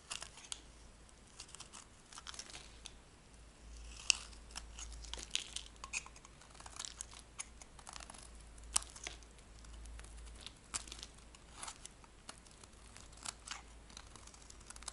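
A metal blade shaves a dry, magenta-pink solid soap bar, lifting off long curls. The sound is a quiet, bright, dry crackling scrape made of many short clicks and crisp snaps, over a faint low hum.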